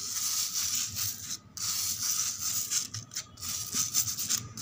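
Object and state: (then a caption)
Concrete floor scratched with nails. Long acrylic nails scratch and rub across flat, solid, rough outdoor concrete ground with fine grit. The result is a steady, bright, hissy scraping, mostly high-frequency, broken by a few short pauses.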